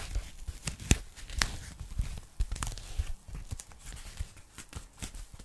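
A thin pink polyethylene foam packing bag, flat and empty, is held up by the hands while long nails tap and scratch its surface. The sound is an irregular run of soft, dull taps with a low thump, mixed with dry, crinkly scratching that carries bright, papery edges. Each tap dies away almost instantly, leaving a close, quiet texture.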